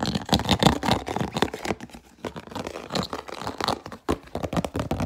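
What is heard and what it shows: An empty, hollow, clear plastic food container with an orange-rimmed lid is held and turned in both hands while fingernails rapidly tap and scratch it. The result is a dense run of short, dry plastic clicks and rough scratching with crinkly, bright edges. It has a brief quieter lull before the tapping resumes.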